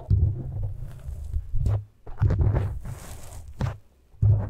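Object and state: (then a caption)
Foam microphone windscreen being scratched. Fingertips and short nails of both hands scratch and rub the sides of a black foam windscreen on a microphone. This produces deep, muffled rumbling and thumping bursts, almost entirely low in pitch, separated by brief quiet gaps, with faint bright scratchy texture on top.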